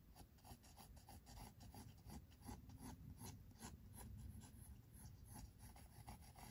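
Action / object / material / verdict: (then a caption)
scrape / pencil on paper sketchbook page / paper / none. A pink mechanical pencil is rubbed repeatedly across white drawing paper in a spiral-bound sketchbook on a table, in shading strokes. Quiet, dry scratching comes in quick, uneven strokes, each a short bright rasp over a low, soft rumble.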